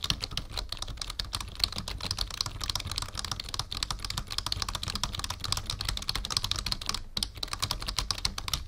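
Fingertips of both hands type steadily on a black full-size plastic membrane keyboard with a numpad resting on a wooden desk. The result is a dense, continuous patter of short, bright key clicks over soft low thuds, with no ring between taps.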